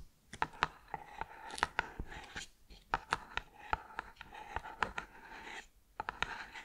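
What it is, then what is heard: Cardboard snack tube. Long green-painted nails tap and scratch the lid and side of a hollow, green and white cylindrical cardboard tube of tuiles crisps with a metal-rimmed lid, held close to the microphone. Sharp, short clicks with a hollow ring around 1 kHz are heard, with soft scratching between them and a brief quiet gap near the end.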